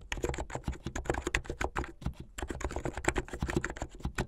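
Fingertips with long painted nails type fast on a full-size plastic mechanical keyboard with white and blue hollow keycaps on switches and a blue backlit case. A dense run of short, clacky keystrokes with a deep, hollow low end and quick decay, pausing briefly near the middle before the rapid typing resumes.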